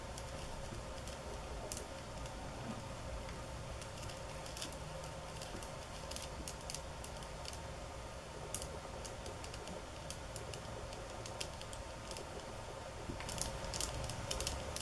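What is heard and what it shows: Long nails tap slowly and softly on the slats of a flat mat made of thin bamboo sticks. Short, bright clicks come at an irregular pace over a steady low hum and faint hiss, with a slightly louder cluster near the end.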